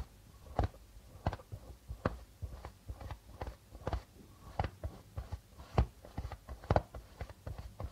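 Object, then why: Darbuka drum with plastic head. Fingers of both hands tap and rub the plastic head of a hollow darbuka drum. The result is an irregular run of short, dull, low thumps with quick decay, separated by soft scratchy rubbing on the membrane.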